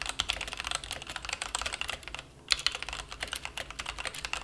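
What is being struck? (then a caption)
Plastic mechanical keyboard on a felt mat. A plastic mechanical keyboard resting on a felt mat is typed on rapidly with the fingertips of both hands, producing a fast stream of short, bright, clicky keystrokes. There is a brief pause midway before the typing resumes at the same quick pace.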